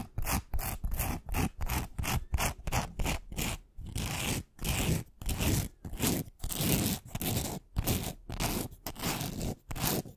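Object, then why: Glitter-coated wooden pencil. Long nails scratch a long, thin, solid pink glitter-coated wooden pencil right in front of the mic. Quick, short scraping strokes in the first few seconds give way to longer, fuller rasping passes, each separated by brief silences. The texture is gritty and broadband, with a strong low rumble and bright hiss on top.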